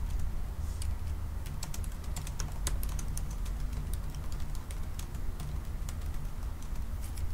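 Both hands type slowly with their fingertips on the black plastic keys of a silver aluminium laptop. Light, crisp taps with bright, short click tops sit over a steady low rumble, each tap fading almost instantly. The tapping stays irregular and even in loudness throughout.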